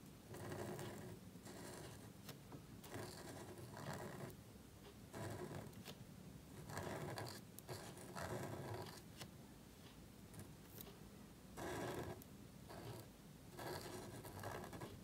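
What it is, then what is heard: Marker nib scratching on thin cardstock. A gold marker nib scratches and rubs across a small, thin black cardstock card resting on a table while lettering. Short bursts of dry, papery scraping come in uneven strokes separated by brief quiet pauses, over a faint steady low hum.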